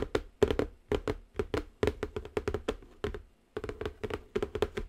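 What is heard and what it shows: Long acrylic nails tap rapidly on the top of a large, square, silver-printed Cocoro Zen Garden cardboard box that is closed and hollow. The sound is a steady run of quick, light, hollow taps in short clustered bursts, each with a dull mid-pitched resonance that dies almost instantly. There is a brief pause before the tapping resumes.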